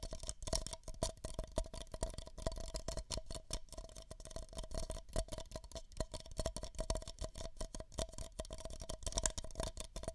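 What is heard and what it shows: Two identical empty, hollow beige paper cups are held over the microphone ears and tapped rapidly with fingertips and nails for about ten seconds. The steady stream of taps mixes soft, hollow, low thumps with bright, clicky nail ticks, and a faint papery resonance sits around 650 Hz. Each tap dies away almost at once.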